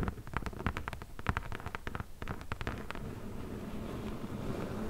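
Long nails tap rapidly on the top of a closed, hollow corrugated cardboard box, then tap along its top edge. The first three seconds bring a quick series of short, dry clicks over a low, hollow thud, then the taps fade into a soft, steady rustling hiss.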